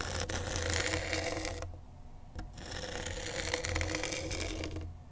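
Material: Grip tape.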